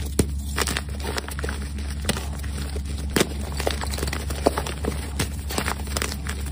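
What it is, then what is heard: Gym chalk block being crushed. Glitter-covered hands with pink nails squeeze and crumble solid white gym chalk blocks (magnesium carbonate) into powder in a dark round tray sprinkled with glitter. Dry, brittle crunches and crackles come in quick, uneven bursts over a steady low hum.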